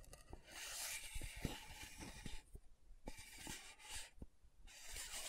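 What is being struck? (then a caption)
Small plastic powder jar lid. Long nails slowly scratch the top of a small round plastic loose powder jar with a dark purple lid, held close to the mic. Bright, hissy scratching comes in several drawn-out passes separated by brief quieter gaps, with soft low clicks and taps scattered throughout.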